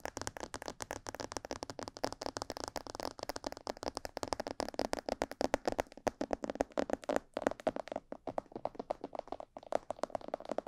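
Long purple fingernails tap quickly and continuously on the sides, ears and lower jaw of a life-size, hollow, glossy black plastic mannequin head. The taps are dense, dry clicks with a hollow mid-range body around 560 Hz and almost no ring. A few brief pauses break the steady rhythm.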